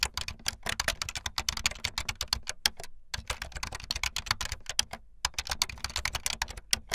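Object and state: Plastic membrane keyboard, fast typing.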